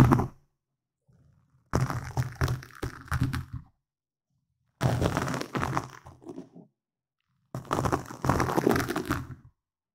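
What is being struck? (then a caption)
Foam microphone windscreen. Fingertips and nails scratch and tap a black foam windscreen on a microphone, producing dense, crackly, thumping bursts with a strong low rumble around 125 Hz and crisp scratchy texture above. The noise comes in four separate stretches of about one to two seconds each, broken by short silences.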